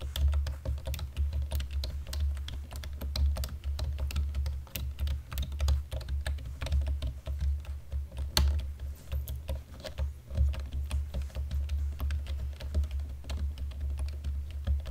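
Keys on a black plastic computer keyboard are pressed slowly with fingertips and nails, making a steady run of soft clicks and taps with bright, crisp edges. A constant low hum sits underneath throughout.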